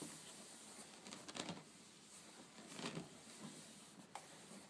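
Long painted fingernails tap and scratch across a flat, solid woven rattan/wicker tabletop in a herringbone pattern. Quiet, dry scraping rasps with a bright, hissy texture are broken by a few short, irregular taps that fade almost at once.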